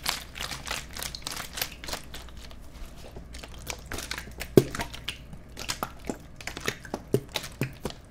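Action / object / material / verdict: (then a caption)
scrape / thin-walled plastic water bottle / plastic / none. A clear, empty, thin-walled plastic water bottle with its cap on is held in both hands close to the microphones and squeezed and crinkled with the fingers. Rapid, sharp, bright crackles and crinkles pop and die away almost at once over a faint steady low hum, with one louder snap partway through.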